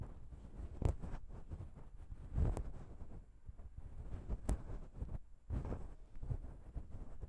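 Long pink nails tap and scratch the chrome XY metal microphone capsules on the grey body of a Zoom H6 recorder. Dull, low, boomy thumps stand out against a steady rumbling, rustling scrape. Each tap dies away almost instantly.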